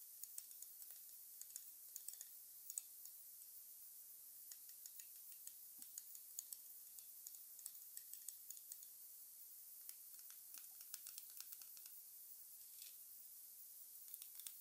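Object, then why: Resin or plastic replica wand. Fingertips tap and run along the smooth brown shaft of a long, thin, solid resin Harry Potter replica wand with a textured dark handle, held over its open black display box. Quiet, dry, bright clicks and soft scratchy ticks come in irregular bursts over a faint high hiss, each dying away almost instantly with no low-end body.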